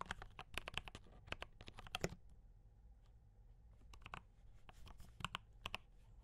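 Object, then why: Mechanical keyboard with plastic keycaps. Fingertips type on a D84 mechanical keyboard with brown switches and cream and red plastic keycaps. Quick, sharp clacks with a low body and bright tops come in a rapid burst, fall quiet for a pause of about two seconds, then resume.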